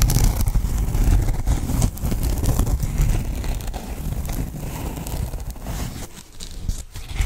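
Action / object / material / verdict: scrape / memory foam pillow in a fabric cover / foam, fabric / none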